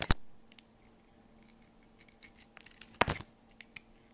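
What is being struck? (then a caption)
Bar of soap cut with a blade. A blade slices and scrapes strips off the side of a solid oval soap bar with a purple and orange marbled outer layer and a white core, held by a hand with long purple nails. Two sharp, bright crunching cuts stand out, one at the start and one near the end, with quieter crisp scratching and flaking in between.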